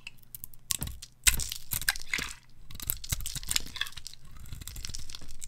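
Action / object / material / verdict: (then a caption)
scrape / soap bar cut with a metal blade / soap / none. A palm-sized, red-pink solid bar of dry soap with a dotted pattern is held in hand and shaved with a metal blade into curls and flakes. Quick, bright scraping and crackling strokes follow one another closely, with a steady low hum underneath.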